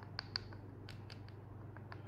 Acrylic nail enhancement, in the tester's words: if you're ever unsure when your acrylic is set it makes a dull sound